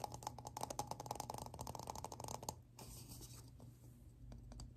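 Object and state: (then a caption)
Plastic lid tapped. Fingertips tap rapidly on the flat surface of a hollow black plastic round lid with a ridged rim, making quick, uneven hollow clicks with a ringing tone near 840 Hz. After about two and a half seconds the tapping stops and gives way to a softer, scratchy rustle as the lid is turned, with a few light taps.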